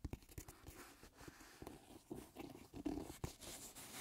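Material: Leather.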